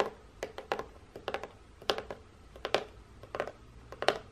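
Long painted nails tap and scratch the folded end of a hollow, printed corrugated cardboard box, up close. It gives a series of short, dry, irregularly spaced taps with a hollow midrange knock and no ring, with faint scratching between them.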